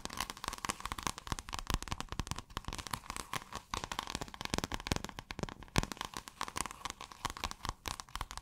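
Long acrylic nails scratch quickly across pale blue, scale-textured iridescent fabric that is folded or rolled. The result is a dense, steady stream of dry, crinkly crackles and short clicks with a constant midrange rasp and bright hiss on top.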